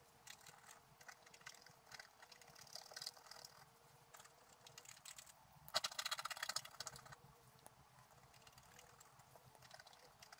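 A wooden stylus scratches the black coating off a sheet of scratch art paper, held in one hand, working over the flower area. Dry, bright, irregular scraping strokes continue throughout, with a louder, denser burst of scratching about midway, over a faint steady low hum.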